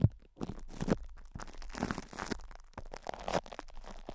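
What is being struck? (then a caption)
Metal microphone grille wrapped in cling film. A metal microphone grille wrapped in cling film is scratched and rubbed by fingertips, and a knuckle or finger presses on its top. The result is close, irregular crinkling and crunching rustles with dull, low thumps. A faint hiss sits between the bursts.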